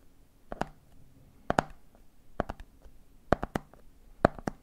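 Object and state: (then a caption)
Plastic peanut jar tapped. Fingertips tap the red plastic lid of a medium clear plastic jar full of peanuts, then fingers tap the jar's side. Quick, dry, hollow taps come in five small clusters, with a mid-pitched knock and almost no ring between them.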